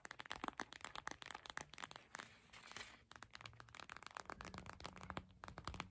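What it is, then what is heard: Gel bead eye mask in clear plastic. Long acrylic nail tips tap fast on a clear purple plastic eye mask filled with gel beads, lying flat. A dense run of crisp, clicky taps with a crinkly, bright edge, easing into a softer rustling stretch in the middle before the quick tapping resumes.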